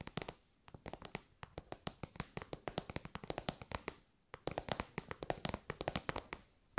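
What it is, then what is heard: Vinyl zip pouch tapped with fingernails. An elongated, shiny metallic pink faux-leather (vinyl) zip pouch, soft and hollow, is held in the hands and tapped and scratched with long white almond-shaped nails. Rapid, crisp tapping clicks with a short, dry ring come in quick bursts, with brief scratchy textures between them and two short pauses along the way.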